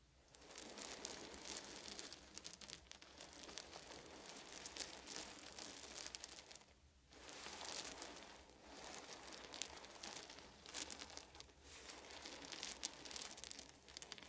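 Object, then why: Small wooden beads. Fingertips of both hands rake and rub through a heap of small, round, solid wooden beads resting on a fuzzy blanket. The result is a dense, bright clicking and rattling, with a brief quiet lull about halfway through before the raking picks back up.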